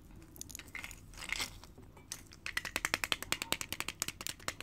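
A small, full, sealed metal peanut can has its metal lid and bottom tapped and scratched with long painted fingernails. Soft, bright scratching and rustling come first, followed by a quick run of sharp, crisp nail clicks on the tin that die away almost instantly.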